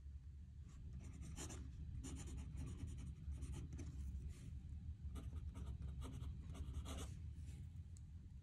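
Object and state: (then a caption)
Fountain pen nib writing on paper. A metal fountain pen nib scratches across a squared paper notebook page lying flat on a desk as a hand writes. Short, bright, scratchy strokes come in quick bursts over a steady low hum.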